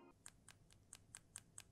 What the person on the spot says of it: dia bukan ciri khas ketokan dari aluminium atau besi yang Ting Ting Ting Ting